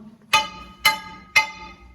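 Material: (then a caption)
Rock. A scaling bar taps the rock face of a gold mine tunnel three times after blasting to check the rock. Each strike gives a sharp, bright metallic ping with high ringing tones that fade quickly. This is the sound of good, solid rock.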